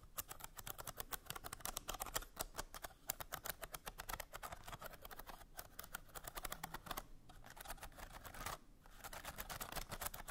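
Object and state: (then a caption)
Bamboo slat box. Long nails scratch along the ridged slats of a small hollow bamboo slat box and tap on them. The result is a dense run of quick, dry, bright clicks and raspy scrapes with almost no ring, broken by a couple of brief pauses.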